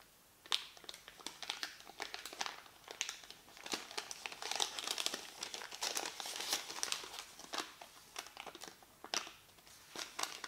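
A small, thin white paper receipt is held in both hands with painted nails and folded and crinkled. Dense, bright crinkling and sharp crackles run throughout, with quick snaps rising out of a steady rustle and no low-end body.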